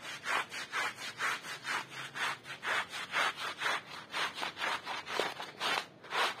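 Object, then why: Wet woven wool rug scrubbed with a plastic bristle brush. A small, flat, woven striped wool rug, soapy, wet and muddy, lies on a plastic sheet and is scrubbed back and forth with a handheld plastic bristle brush while the other hand holds it down. The brush makes rhythmic, scratchy, wet rubbing strokes at about two per second, each a bright, hissy swish, continuing steadily throughout.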